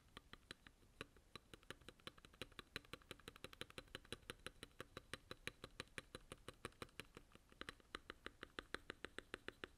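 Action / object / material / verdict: tap / mechanical keyboard, aluminum case, plastic keycaps / aluminum, plastic / none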